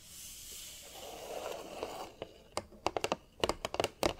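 Long nails tap rapidly on the front and sides of a large, hollow, green printed cardboard display box. A soft, bright rustling opens the clip, then gives way to crisp, typing-like clicks that stop quickly with no ring.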